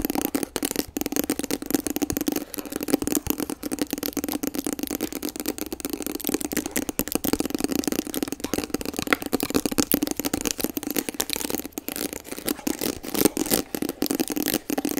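Long acrylic nails tap and scratch across the front panel of a hollow, medium-sized printed cardboard kit box held in front of the face. The result is a rapid, continuous stream of dry, short taps and rasping scratches with a hollow low-mid body and bright, crisp edges.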